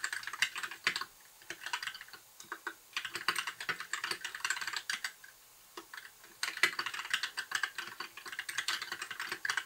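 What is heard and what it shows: Fingertips of both hands type continuously on a compact white mechanical keyboard with backlit plastic keycaps. Dense, bright clicks and clacks come in quick bursts, with short pauses between runs. Each keystroke ends almost instantly.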